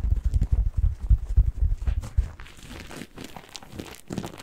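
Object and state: Cellulose kitchen sponge.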